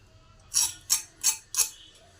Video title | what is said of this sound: অনুষ্ঠান বাড়ী বা রেস্টুরেন্ট এর মতো অসাধারণ স্বাদের মুচমুচে ভেজিটেবল চপ এইভাবে বানিয়ে ফেলুন - | খুব ক্রাঞ্চি হয়েছে আওয়াজটাই শুনতে পাচ্ছেন কত মচমচে হয়েছে এই চপটা পুরো